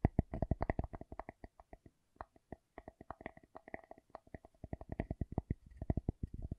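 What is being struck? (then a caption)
Wooden object. A wooden object is tapped in a quick, uneven run of short, dry knocks with almost no ring. Each knock has a low thump body and a faint hollow tone above it, and the tapping pauses briefly near the two-second mark before resuming.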